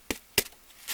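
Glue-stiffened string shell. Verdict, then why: Hard. A glue-soaked string egg shell, dried overnight, is knocked twice, giving two sharp, dry, bright taps that die away almost at once. A softer, hissy sound follows near the end. The shell stays firm and doesn't cave in, showing it is hard, dry and ready.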